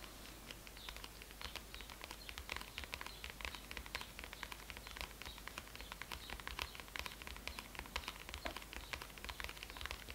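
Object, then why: Faux leather notebook hardcover. Both hands tap and scratch the printed white faux leather (PU) hardcover of a closed, solid A5-size bullet journal with a snap strap, lying on a red cloth, using medium-length manicured fingernails and fingertips. A quiet, steady stream of rapid, bright nail clicks and soft scratching patters continues throughout, over a faint low hum.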